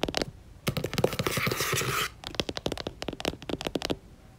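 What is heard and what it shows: Long nails tap quickly on the paper cover of a yellow paperback book lying flat and closed. The crisp, short taps give way to a steady, hissy scratching across the cover for about a second and a half. Then a fast run of taps follows.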